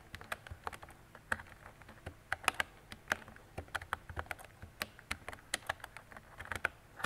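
Fingertips with long decorated nails type on a mint-green retro mechanical keyboard with round plastic keycaps and a hollow body, producing a quick, irregular run of sharp, clacky keystrokes. The clicks are bright with a hollow plastic tone and cut off almost instantly, with no ringing between strokes.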